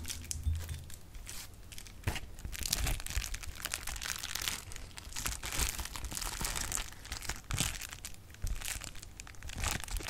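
A large sheet of clear plastic bubble wrap is crumpled and popped with fingers. Dense, bright crinkling runs throughout the clip, with sharp, quick pops that swell in bursts over a faint low rumble.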